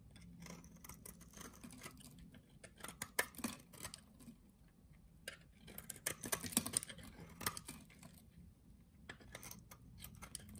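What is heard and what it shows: A solid, translucent green oval soap bar, held in the hand, has its scored surface shaved off into small cubes with a utility knife blade. Quick, irregular bursts of crisp, bright scraping and crumbling follow one another, with soft ticks of falling cubes over a faint low hum.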